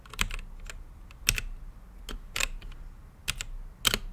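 Fingertips type on a blue-lit mechanical keyboard with plastic keycaps and a clear acrylic case. Bright, sharp clicks come in loose, uneven clusters, each fading almost at once over a faint low hum.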